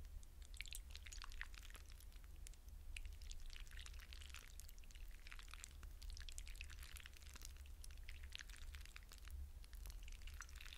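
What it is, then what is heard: Wet hydrogel water beads in a glass bowl. Fingertips with short painted nails dig into and swirl many wet blue hydrogel water beads in a shallow clear glass bowl, rubbing and squishing them. Quiet, continuous wet squelching and bright, dense clicking crackles run over a steady low hum throughout.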